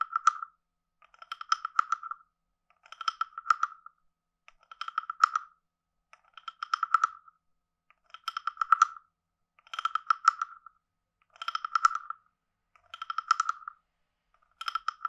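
A wooden stick taps and rattles quickly against a hand-sized, carved, hollow wooden frog guiro with a ridged back. It makes about ten short bursts of rapid, dry clicks with a hollow, woody tone near 1.3 kHz and faint bright overtones, separated by brief silences. Each click dies away almost instantly.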